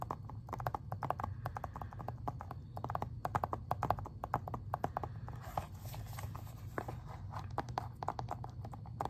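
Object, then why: Plastic video game case. Fingernails tap rapidly on the cover of a plastic Xbox 360 game case as the case is turned from front to back. The taps are short, dry clicks centered around 730 Hz, with a steady low hum underneath. The clicks come in quick bursts and die away almost instantly.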